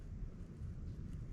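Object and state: Nothing is struck.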